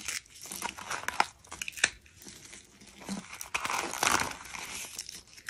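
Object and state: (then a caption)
Dry soap curls crushed by fingers. Fingertips and short nails press and crush a round arrangement of rolled white dried soap curls. Dry, bright crackles and crunches come in quick bursts as the rolled soap tubes break apart, each snap dying away almost instantly with little low end.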